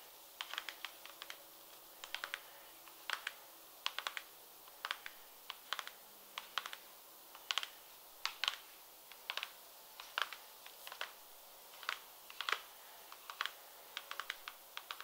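An empty light pink glossy patent leather peep-toe pump is tapped rapidly with long red nails. The result is a steady stream of short, sharp, bright clicks in quick bursts with very little ring, plus a faint scratchy texture between taps.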